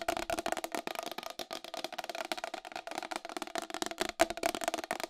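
Long acrylic nails tap fast on the rim and face of a round white plastic wall clock, about 25 cm across with a hollow case. The result is a dense run of short, dry clicks with a hollow, woody ring around 670 Hz and bright high edges. Each tap dies away almost instantly and there is almost no low end.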